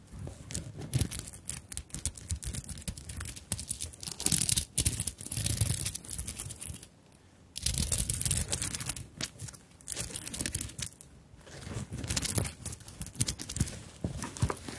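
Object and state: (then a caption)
Sequined beaded handbag. Long nails scratch and tap the beaded front of a small fabric handbag covered in beads and sequins. The result is a dense, bright, crinkly rustle of rapid clicks and scrapes over soft low thumps, with a brief quiet pause midway.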